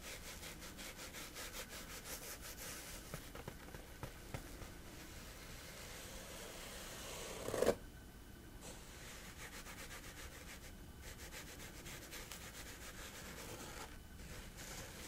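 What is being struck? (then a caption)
Coarse woven fabric sheet. Fingertips and nails rub and scratch across a flat sheet of coarse woven fabric, making a steady, dry rasping texture with bright, hissy grit. Near the middle comes one brief, louder scrape, and the scratching then carries on at a soft, even level with short dips in the high hiss.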